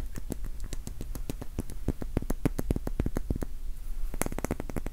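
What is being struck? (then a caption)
Wax pillar candle. A small, solid, cylindrical pink wax pillar candle is tapped rapidly with the fingertips and nails. The result is a quick, uneven stream of short, dry clicks, each with a soft low thump and a bright tick, and almost no ring after each tap.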